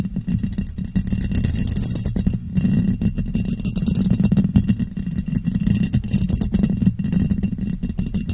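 A clear ribbed glass jar, hollow and empty, is turned upside down over the microphone and tapped with long painted nails. The result is a dense, continuous patter of quick taps and light scraping with a muffled, boomy low hum centered around 195 Hz. Little brightness comes through.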